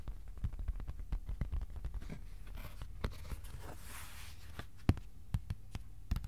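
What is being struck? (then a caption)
Thin cardboard sheet. Fingertips tap a thin, flat, white cardboard sheet about A4 size resting on a lap, making a quick, uneven series of soft, dull, low taps that stop almost at once. Around the middle, a faint, bright rustling scrape rises under the taps. A few louder taps stand out near the end.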